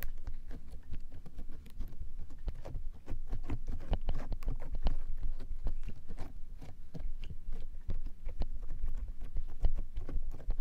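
A flat layer of clear, glossy slime on a frosted plastic tray is pressed and patted with the fingertips and palms of both hands with long nails. The result is a steady run of soft, sticky, low, muffled pats and squishes with brief, faint bright clicks, with no hollow ring.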